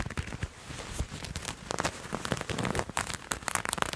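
Fingernails scratch and rub a purple patterned fabric garment held in both hands. Quick, crisp scratching bursts and soft rustling rub against a low, steady hiss. Brighter, sharper ticks stand out near the end.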